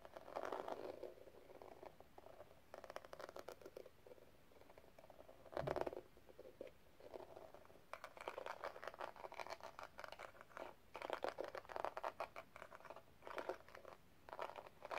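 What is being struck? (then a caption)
Small metal cigarette case with gem-tiled lid. Long red nails scratch and tap a small, hollow rhinestone metal cigarette case with a pink gem-tiled lid. Quiet bursts of rapid, dry clicking and scratching come in clusters with short pauses, centered in the mid-range, with one louder thump near the middle.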